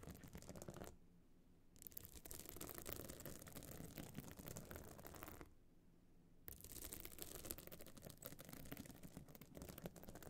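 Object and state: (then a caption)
Pebble-encrusted clutch bag scratched with nails. Long nails scratch the sides of a small, hollow, hard clutch bag with a metal frame, covered in glued stone and shell chips and standing open. The result is a dense, rapid, bright, gritty scratching that twice drops to near silence for about a second before resuming.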